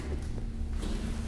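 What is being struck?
Nothing is struck.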